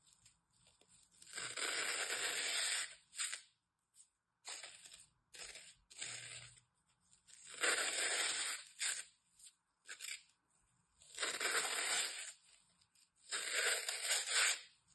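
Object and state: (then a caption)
Floral foam block being cut. A craft knife blade scores and slices a crosshatch pattern into the surface of a solid brick of green phenolic floral foam held in the hand. Bright, dry tearing and crunching scrapes come in long drawn-out strokes mixed with short quick cuts, separated by brief silences.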